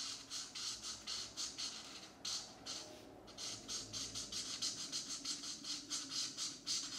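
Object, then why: Felt-tip marker on a paper coloring book page. A marker fills in a shape on a paper coloring book page with a geometric pattern, lying on a map-printed desk mat, while one hand holds the page and the other makes short scratchy strokes. About sixteen quick, bright, hissy scratches follow one another in an uneven rhythm, with a brief pause near the middle. Almost no low-end sound is heard.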